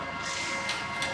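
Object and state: Nothing is struck.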